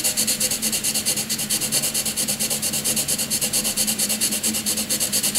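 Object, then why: Graphite pencil on paper sheet. A graphite pencil rapidly shades a grey block on a sheet of white paper with fast back-and-forth rubbing strokes. The result is a bright, scratchy hiss that pulses in a quick, steady rhythm throughout, with a faint low hum underneath.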